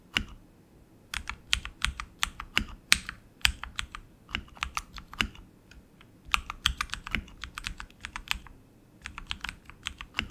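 A tenkeyless RGB mechanical keyboard with plastic keycaps on an aluminum frame and tactile switches is typed on continuously with the fingertips of both hands. Quick, bright clicky keystrokes come in irregular bursts with short pauses, each one dying away almost instantly.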